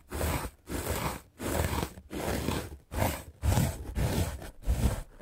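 A small red-handled paint brush with dark bristles is scrubbed fast across a solid, white, rectangular melamine foam sponge held in the hand. It makes a series of rough, crunchy, scraping strokes separated by brief pauses. The sound is dense and low-heavy.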